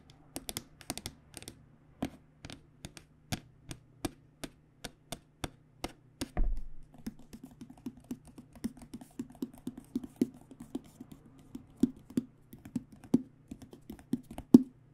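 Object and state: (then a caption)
Aluminum hard case tapped with nails. Long dark-painted nails tap rapidly on the black top panel and aluminum edge rails of a hollow AKG microphone hard case lying flat. The taps are short, sharp clicks with a hollow, low-mid ring around 250 Hz. The tapping starts as evenly spaced hits, turns into a faster, denser patter after a single heavier thump with a brief low rumble near the middle, and ends with a louder knock.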